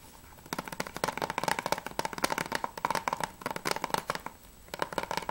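Fingertips and nails tap fast on the top edge and front cover of a closed hard plastic PS3 game case for Remember Me, held flat. The result is dense bursts of short, dry clicks with a hollow plastic tone around 1 kHz and little low end, broken by brief pauses near the start and just after four seconds.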